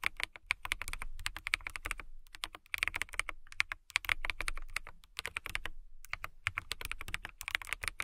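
A full-size mechanical keyboard with a hollow, clear acrylic/plastic case, clear keycaps and RGB backlighting is typed on rapidly with long manicured nails and fingertips. Quick, bright, clacky key taps come in dense bursts, separated by brief pauses near 2 and 6 seconds. Each tap is dry and short with almost no ring.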